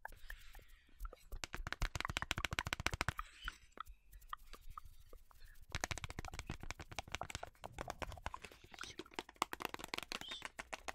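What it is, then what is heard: Cardboard box. A long yellow cardboard parchment paper box is tapped and scratched on its sides and end with long nails. Rapid, dry, clicky taps run in dense bursts with almost no ring, easing into sparser scratching in the middle before the quick tapping resumes.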